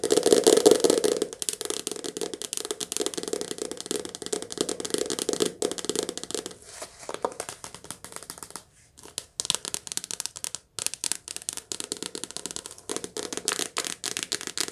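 A softcover paperback book has its cover and spine tapped and scratched with long nails. The result is rapid, uneven, papery tapping with crinkly scratching, dry and short with no ring. Bright hiss runs over a papery midrange, and there are a few brief pauses.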